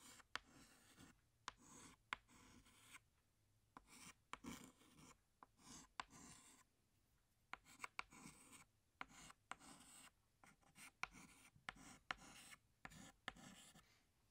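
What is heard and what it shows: A hand draws small branches with a tan chalk stick on a large flat black chalkboard. The chalk makes quiet, bright, raspy scratching strokes broken by sharp little taps as it meets the board. Each stroke ends in short pauses.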